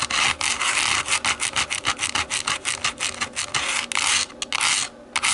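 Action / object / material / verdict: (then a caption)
scrape / plastic TV remote / plastic / none. Long nails scratch the dotted, textured back of a black plastic TV remote lying face-down, its hollow back giving the strokes a dry rasp. About two dozen quick, bright scratching strokes run in a steady rhythm, each a short burst of high-pitched hiss with almost no low end. Near the end the scratching briefly drops to a quiet hush, then resumes.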